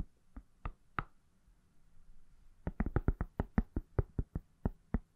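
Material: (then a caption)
Silicone. A palm-sized, solid iPhone in a pale silicone/plastic case is tapped with fingertips and nails. A few sparse taps are followed by a short pause, then a quicker, steady run of short, dry knocks. Each tap has a low thud and a bright click that dies away almost instantly.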